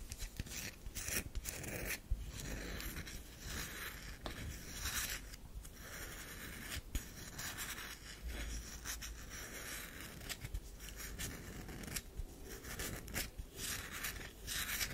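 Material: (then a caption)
Soap. Long nails scrape and scratch a round solid bar of soap with a powdery scraped surface, held in the hand. Repeated dry, bright scratching strokes come in quick bursts at a quiet level, each dying away almost at once.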